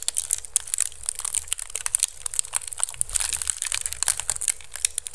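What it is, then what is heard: Woven bamboo basket scratched. Fingertips and nails scratch and crunch the weave of a small, hollow, empty basket of pink-painted woven bamboo strips resting upside down on a microphone. A dense, fast run of bright, dry crinkling and crackling clicks is heard, with a steady low rumble underneath. Each crunch stops instantly with no ring.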